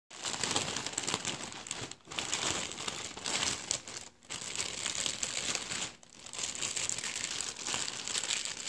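A heap of deflated, empty blue metallized mylar star balloons, thin hollow film, is crumpled and crinkled with the fingertips and palm. The result is a dense, bright, continuous crackling crinkle with almost no low end, broken by brief quiet gaps before resuming.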